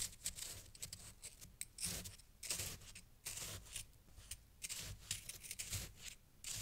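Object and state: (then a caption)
Fresh snow scraped with a wooden stick. A small wooden stick held in the fingers pokes and scrapes through a loose heap of fresh, crunchy white snow chunks piled on a green towel. The result is a run of crisp, bright crunching and scraping bursts with short pauses between them and a faint low hum underneath.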